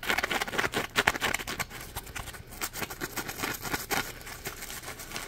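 A yellow smiley-face Scrub Daddy sponge, a hand-sized piece of polymer foam, is held in both hands and scratched and squeezed with the fingers. It makes quick, bright, crackly scratching bursts with little low end, loudest in the first second and a half. The sound then settles into a softer, steady rustling patter.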